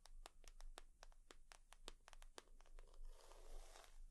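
Long nails tap and scratch on a leather purse, giving a quick, uneven run of sharp, bright clicks. Toward the end the taps give way to a softer, rustling scratch.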